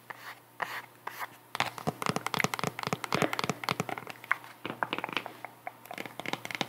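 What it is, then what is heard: Cork wedge sandal scratched and tapped. Long nails scratch and tap the textured cork wedge heel of a white sandal with faux leather straps as it is held up and turned. A few soft scrapes at the start give way to a dense run of quick, dry, crackling taps and scratches with a bright, crinkly edge. Each tap stops almost at once.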